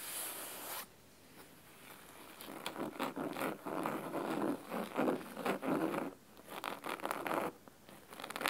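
Fingernails of both hands scratch the cloth cover of a large, solid red cloth-bound hardcover book resting on a wooden table. After a brief bright hiss and a short quiet gap, crisp, dry scratching strokes come in quick, irregular bursts, with a few brief pauses between runs.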